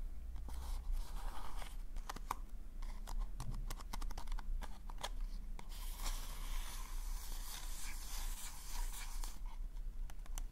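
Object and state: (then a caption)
Paper party hat. A hollow pink polka-dot paper cone party hat is held over the mic while fingertips and nails tap and scratch it. Crisp, dry papery clicks and scrapes come in quick bursts over a steady low rumble. A brighter rustling scratch fills the second half.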